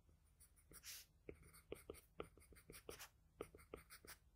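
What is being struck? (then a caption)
Graphite pencil on paper sheet. A wooden graphite pencil tip strokes across a sheet of flat drawing paper while drawing a nose and lips. The result is a quiet series of short, dry scratching strokes with sharp ticks around 460 Hz, plus a longer, brighter hiss of shading near the start.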